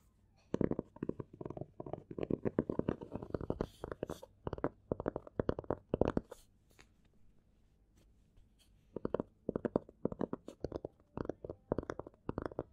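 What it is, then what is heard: Hardcover book. Fingertips of both hands tap quickly on the cover of a closed, small black hardcover copy of "milk and honey" lying flat on a table. Rapid, soft, dull taps come in dense flurries for about six seconds, pause for roughly two and a half seconds, then resume in clustered bursts until the end. Each tap is short and muted, with little ring.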